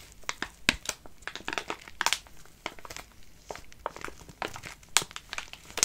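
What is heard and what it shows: A full soft plastic-film wet wipes pack, held in both hands, is crinkled and scratched with fingertips and fingernails. Bright, crisp crackles and rustles come in quick irregular bursts, with sharp clicks standing out over a softer continuous crinkle and almost no low end.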